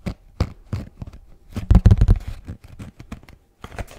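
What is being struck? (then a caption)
Kraft cardboard box. Fingertips tap and knock on a hollow kraft cardboard box with a blue band, held upright. A quick, irregular run of short, dry, low thuds with almost no ring fades in and out, growing louder and denser in the middle before softening and picking up again at the end.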